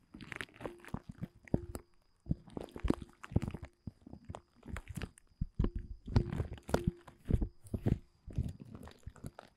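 Fingertips scratch and grip the surface of a thin, large, dark blue woven polyethylene tent groundsheet. The result is a series of irregular, crinkly, crunching bursts separated by short pauses, heavy in the low end, with a faint steady tone running underneath.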